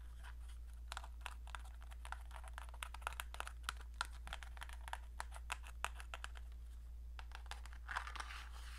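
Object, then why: Small cardboard matchbox. Long dark nails rapidly tap and scratch the sides of a small printed cardboard matchbox. Many dry, short clicks and papery scratches sound bright and crisp over a steady low hum, with a denser scratching burst near the end.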